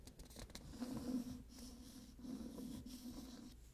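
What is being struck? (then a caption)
Hardcover book with glossy paper dust jacket. Fingernails scratch and trace across the glossy paper dust jacket of a solid *Midnight Bayou* hardcover book. The result is a quiet, continuous, dry scratching and rubbing with a low, steady hum underneath.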